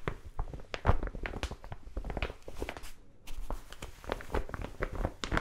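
Long nails scratch and tap across the surface of a large brown kraft paper mailer envelope. The result is a dense run of short, dry, crinkly ticks and scrapes with little ring, with a brief near-silent pause around the three-second mark before the scratching resumes.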